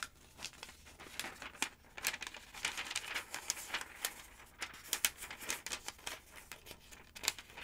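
Long-nailed fingers turn and flatten the pages of a thick paper phonebook with glossy advert pages. Crisp, bright crinkling and rustling come in quick irregular bursts over a soft paper hiss, with almost no low end.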